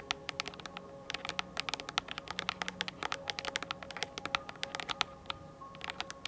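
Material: Plastic.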